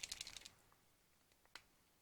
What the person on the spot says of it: you can hear that little rattling ball in there kind of mixing up the paint